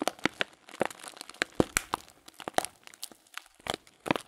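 Thumbs press and crinkle a sealed, clear plastic bag filled with loose dried fruit tea. The result is a rapid series of sharp, dry crackles and crinkles with bright, high edges and almost no low end, each snapping off quickly between short, quieter rustles.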